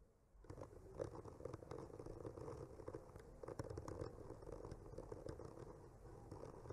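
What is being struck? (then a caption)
Painted wooden panel. The tip of a bamboo skewer slowly traces and scratches across a solid wood panel painted with trees. After a short silence, a soft, continuous dry scraping begins, with a steady mid-range hiss and small crackling ticks over a low rumble. It stays quiet and even throughout.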